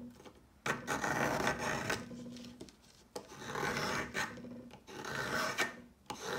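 A solid pale yellow chalk stick, held by fingertips, is shaved with the metal blade of a yellow peeler in repeated scraping strokes. Each stroke gives a dry, gritty rasp with bright, broadband hiss, separated by brief quiet pauses.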